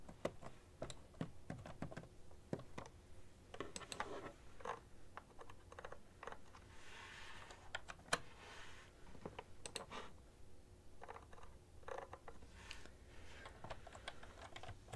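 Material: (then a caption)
Plastic. Fingertips and long nails type on a full-size beige plastic ergonomic keyboard, with one or both hands on the keys. A quiet, steady run of short, dry clicks and taps plays throughout, each fading almost instantly, with occasional louder key strikes.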